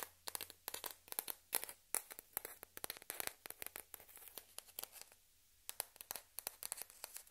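A single small, hollow, white celluloid/plastic ping pong ball, held between both hands over a dark fabric surface where other identical balls lie untouched, is tapped and scratched all over with long red-painted nails. Many quick, dry, bright clicks and scratchy ticks come in an irregular stream with no ring. There is a short quiet pause around the five-second mark before the tapping resumes.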